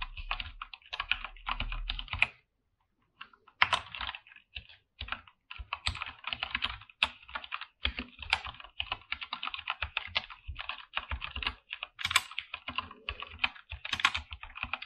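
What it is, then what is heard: Mechanical keyboard with PBT plastic keycaps. Both hands type with their fingertips on a full-size backlit mechanical keyboard with PBT plastic keycaps in a dark room. The keystrokes come as rapid, dense, bright clacks with very short decay, with a brief pause near the start before steady typing resumes to the end.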